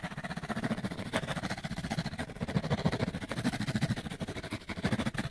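Fingernails scratch quickly across a small, hollow, printed cardboard light bulb box held close to the camera. The result is a fast, steady run of dry, rasping scrapes with a hollow, low-heavy body and little brightness. Each stroke cuts off almost immediately.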